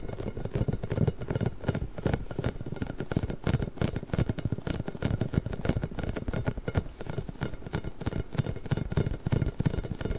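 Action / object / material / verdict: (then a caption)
scrape / inflated rubber spiky ball / rubber / none. A large, pink, hollow, inflated rubber ball with nubs is held to the side of a microphone and scratched and rubbed with both hands. The result is a dense, continuous stream of quick, muffled scratching and rubbing bursts, heavy in the low end, with little brightness and a faint steady tone underneath.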